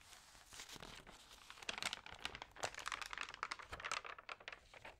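Fingertips and nails rub and turn the damp pages of an open, thin paper magazine. A quiet, papery rustle builds into dense, bright crinkling and crackling from about 1.7 seconds, with short, sharp snaps and almost no low end.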